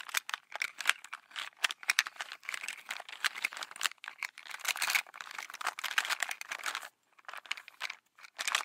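A small translucent black polka-dot mesh/nylon makeup pouch, apparently holding some items, is held in both hands and scratched and tapped with long manicured nails. Dense, bright crinkling and crisp clicking fill the clip, with a brief pause near the seven-second mark.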